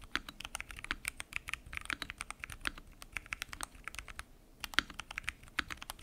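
A full-size mechanical keyboard with lubed switches, pink and mint PBT keycaps and a transparent acrylic case is typed on continuously by fingertips. The result is a quick, steady stream of short, dry, bright clacks with a brief lull just past the four-second mark before the typing resumes.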